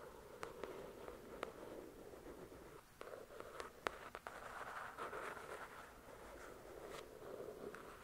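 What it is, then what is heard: Paperback book. Long, pointed dark red nails scratch and tap the glossy card cover of a paperback copy of the novel "The Shack," a solid paper book resting on a white cloth. A quiet, steady midrange scratching runs throughout, broken by short, sharp, bright taps that stop instantly with no ring.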